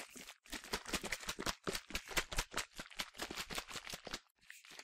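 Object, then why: Plastic spray bottle. A medium yellow plastic sunscreen spray bottle, hollow with liquid inside, is shaken vigorously in one hand. The result is a rapid run of short, bright sloshing and rattling bursts with quick decays and little low end, centered around 2 kHz, broken by a brief pause before the shaking resumes.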